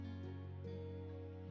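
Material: Nothing is struck.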